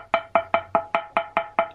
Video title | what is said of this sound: Cheap Tesla meter - Well had to buy one after so many years :) | as you can hear it is oh it is solid